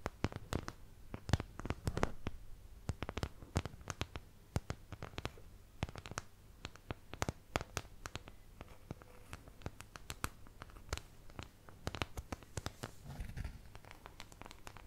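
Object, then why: Thin plastic paint palette. Long nails scratch and tap across the wells of a thin, empty white plastic paint palette held close to the mic. The result is a rapid, irregular run of sharp, dry clicks with brief scratchy strokes, each tap dying away almost instantly over a soft low hum.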